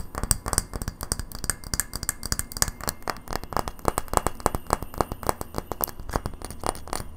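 A small, hollow incandescent light bulb of frosted white glass with a metal screw base is held in the hands and tapped quickly on the glass with long natural nails. The result is a rapid, slightly uneven run of short, sharp clicks with a bright glassy edge and almost no ring, over a low background rumble.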